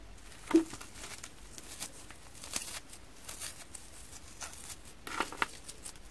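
A small porous piece of frozen foam sponge, from a pile of small colorful cut sponge cubes on a wooden table, is pulled and ripped apart between fingertips with painted nails. A sharp crackle opens the tearing, followed by soft, dry crinkling and brittle snaps that flare up again near the end.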